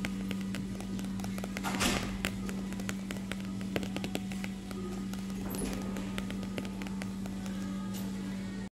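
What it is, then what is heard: Magazine being tapped. A paper magazine is tapped with quick, light, dry clicks and taps in a steady scattered rhythm, with no talking. Brief papery swishes occur near two and six seconds. A constant low hum runs underneath throughout.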